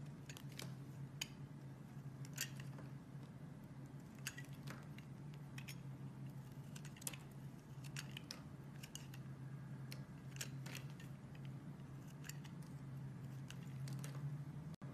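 A metal blade cuts and scrapes long curls off a solid pink bar of soap held in the hand. Short, bright, crackling scrapes and ticks come at an irregular pace over a steady low hum throughout.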